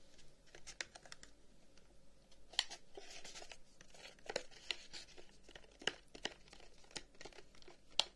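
A long, hollow wooden incense box with flower cutouts and an om inlay is held up while fingertips tap and scratch along its side. Soft, dry, bright scratching rustles run throughout, broken by sharp, crisp taps that stop instantly with no ring. The whole clip stays quiet and close.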